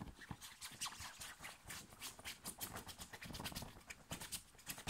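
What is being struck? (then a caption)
Thin cotton t-shirt worn on the chest. Fingernails scratch quickly and roughly across a thin, worn, light blue cotton t-shirt on the chest, with fingers grabbing at the fabric. It comes through as a rapid, uneven run of bright, dry scraping bursts with soft rustling underneath and almost no ring after each stroke.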